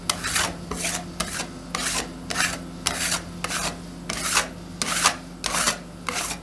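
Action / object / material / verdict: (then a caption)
scrape / metal spatulas on a stainless steel cold plate with frozen ice cream / stainless steel / none. Two metal spatulas with yellow-black handles scrape and chop across a thin frozen layer of red Mirinda soda ice cream on a large, flat stainless steel ice cream roll pan. Eleven separate bright, raspy scraping strokes come at an uneven rhythm, each with a short sharp onset, over a faint steady low hum.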